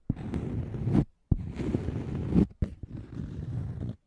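Fingernails scratch and tap a thin, solid, round scalloped cork coaster held close in front of the microphone. Three dry, low, rasping scratch passes are broken by short silences, with a few quick soft taps between them.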